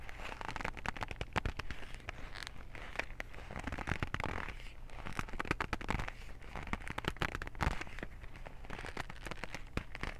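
Fingertips and nails grip, squeeze and scratch a white cardboard cotton swab box. The result is a dense, quiet stream of dry crackles and rapid sharp ticks that die away almost instantly, over a steady low rumble.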